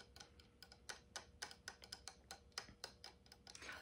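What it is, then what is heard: Wooden easel head. Fingertips and nails tap on the wooden slats of the top section of a light wooden tabletop easel with a metal knob, held in the hands. The result is a quick, unevenly spaced series of bright, dry ticks that die away almost instantly, over a quiet background with a faint steady hum.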